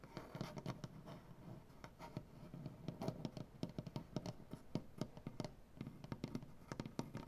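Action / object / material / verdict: tap / wooden butcher-block tabletop / wood / none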